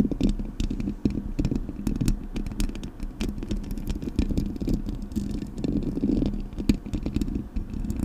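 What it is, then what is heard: Metal mesh microphone grille scratched with nails. Long acrylic nails scratch across the hollow metal mesh grille of a Blue Yeti microphone. The result is a dense, continuous scratching with many sharp, clicky transients over a steady, heavy low-end rumble with a tone near 220 Hz.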